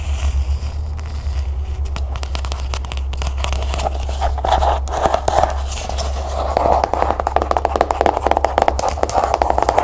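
A closed, small cloth-bound hardcover book is held up close and tapped and scratched fast with long nails on its spine and cover. Dense, crisp clicks and scratchy rustles grow busier over a steady low hum. The tapping speeds into rapid bursts toward the end.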